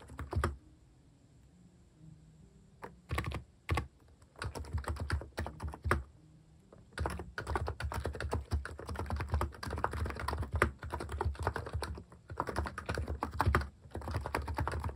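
Fingertips type rapidly on the plastic cat-themed keycaps of a capacitive keyboard, giving soft, low, thocky key strikes. A lone press and a few scattered bursts lead into a long, dense stretch of continuous typing with only brief pauses.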